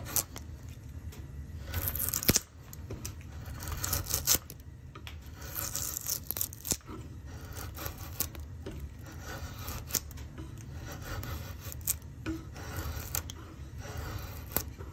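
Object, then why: Softwood plank shaved with a steel drawknife. A steel drawknife repeatedly shaves and scrapes along the top edge of a pale, solid softwood axe-handle blank held in a vise. The result is a rasping, cutting sound of bright, crackling strokes over a steady low rumble, with a few sharp louder scrapes standing out.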